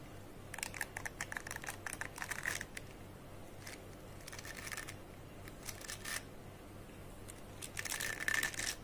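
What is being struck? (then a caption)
Dog slicker brush with fine metal wire pins. Fingertips and nails scratch and rub across the dense, fine metal wire pins of a small square metal-framed slicker brush for dogs held in both hands. Clusters of bright, scratchy ticks and rasps come in bursts with short quiet gaps, with a faint metallic ring near 1.8 kHz. A low, steady background hum sits underneath.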